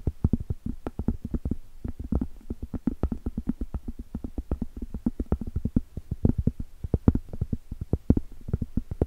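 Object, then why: Cork trivet. Long stiletto acrylic nails tap and scratch the top of a round, flat, solid cork trivet held horizontally close up. The result is a rapid, steady run of short, dull, low thuds with almost no ring and no bright edge, mixed with soft muted scratching between the taps.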